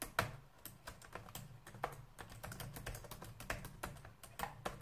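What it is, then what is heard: Plastic laptop keyboard. Fingertips type on a black plastic laptop keyboard, pressing keys in a quick, uneven run of short, dry clicks and taps that stop almost instantly. A faint low hum sits steadily underneath the typing.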